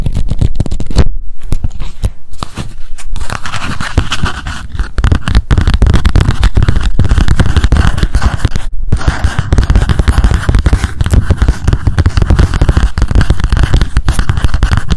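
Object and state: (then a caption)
Paper spiral memo notebook. A small pink paper spiral memo notebook has its pages riffled with the fingers, giving a dense run of papery flutter and crackle. Then its cover is tapped rapidly with long acrylic nails, making quick clicky taps with a heavy low thump.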